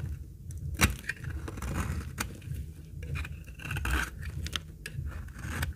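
A utility-knife blade shaves flakes off the edge of a very old, solid, light tan, dry laundry soap bar held in the hand. Dry, crisp scraping and crackling cuts come in short strokes, with a few sharper snaps as flakes break away, over a low rumble.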